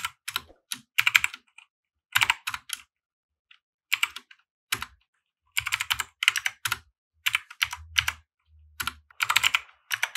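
A compact 60% mechanical keyboard with white plastic keycaps and RGB lighting sits on a felt desk mat and is typed on with the fingertips of both hands. Bursts of bright, clacky keystrokes come in uneven runs separated by short pauses, with each click dying away almost instantly. A faint low thump sounds under some of the strokes.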